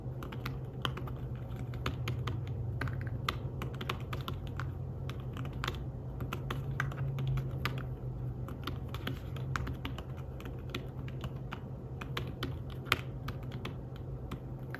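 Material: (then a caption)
Fabric. Fingertips tap the keys of a slim fabric-covered tablet keyboard in steady typing, making soft, dry, muted clicks with a light bright tick on each keystroke. A constant low hum sits underneath the quick, irregular run of taps throughout.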